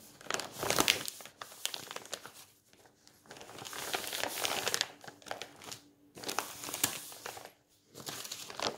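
A flat hand rubs across a page of a thick bound volume of old, yellowed paper magazines, then the pages are lifted and turned. The result is a bright, dry paper rustle and crinkle that comes in several swelling bursts, with short quiet gaps between them.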